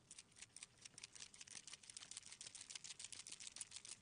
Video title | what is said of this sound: HobbyMaker Live | when the ball bearing is free flowing that means it's mixed